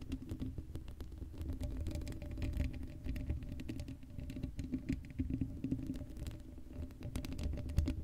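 Long acrylic nails scratch continuously across the hollow black steel mesh grille of an uncovered Blue Yeti microphone. The result is a dense, quick pattering scrape heavy in low, rumbly tones, with a faint steady hum underneath, holding at a soft, even level throughout.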